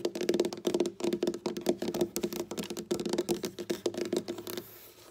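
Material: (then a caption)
Wood. Long black-polished nails on both hands tap and scratch a large, solid, flat dark wooden tabletop. About 24 quick, dry clicks come in rapid uneven bursts with a steady mid-low woody tone, each dying almost instantly. The clip ends with a softer stretch of scratching.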